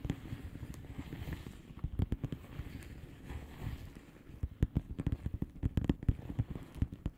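A flat blue plastic bubble wrap envelope is tapped and scratched quickly with the long polished fingernails of both hands. Soft, low, muffled clicks and crackles come in rapid uneven bursts over a quiet scratchy bed. The tapping grows sharper and denser in the second half.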